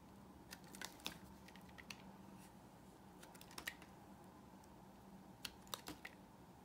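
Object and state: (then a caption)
Dry soap bar being carved. A utility knife blade carves a solid, dry pink bar of soap held in the hand, peeling off thin curls. Short, crisp, bright scraping clicks come in scattered bursts over a faint, steady low hum. Each one stops dead with no ring.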